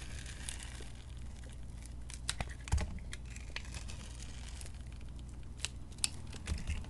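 A metal blade cuts strips from the purple glitter coating of a solid white bar of soap held in the hand. Quiet, crisp scraping and crackling ticks with a few sharper, bright snaps sit over a steady low hum.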